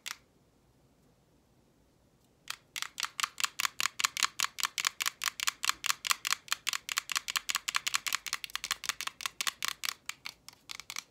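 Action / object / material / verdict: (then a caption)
tap / roll of clear plastic tape / plastic / none. A small roll of clear invisible plastic tape, wound film on a green striped core, is tapped and scratched on its face and edge with long painted nails. After a single tap and a quiet pause of about two seconds, a steady run of about 45 crisp, bright clicking taps follows, each dry and instantly stopped, with almost no low end.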